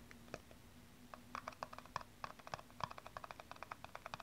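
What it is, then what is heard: Plastic aerosol cap. Long nails tap rapidly on the flat top of a small, hollow blue plastic aerosol cap. The result is a quick, uneven run of light, dry clicks with a hollow tone around 1 kHz, each dying almost instantly, over a faint steady low hum.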